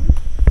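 A durian fruit is tapped with a knife to check its ripeness. The taps sound like dull, low thuds with almost all energy below 200 Hz and very little ring.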